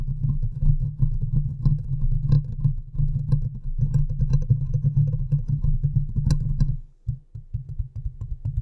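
The hollow metal mesh grille of a large USB microphone is scratched and tapped with long nails and fingertips from both hands. This produces a dense, boomy low rumble of rapid scratching, broken by occasional sharper taps with brief bright edges. The rumble drops away for a moment near the end before resuming more quietly.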